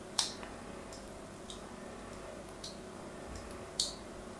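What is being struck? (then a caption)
Bar of white soap cut with a small metal blade. A solid white bar of soap with an embossed logo is held in the hand and scored with a small scalpel-like metal blade, which cuts diagonal lines into it. Short, bright, crisp ticks and scrapes sound as the blade bites into the soap, with quiet pauses between cuts over a low, steady background hiss.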